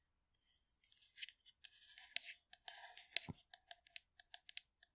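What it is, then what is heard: Metal aerosol can, tapped and scratched. Long nails tap and scratch the side of a hollow blue metal aerosol shaving foam can as it is moved around the mic. Soft, bright scratching swishes give way to a run of sharp, dry, high-pitched clicks and taps that die away almost instantly.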